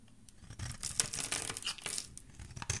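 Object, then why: Bar of soap shaved with a metal blade. A solid, embossed white soap bar held in the hand has its edge shaved with a metal blade. It gives a dense run of bright, crisp scraping and crumbling sounds with a few sharper peaks. Little low end sits beneath the high, papery texture.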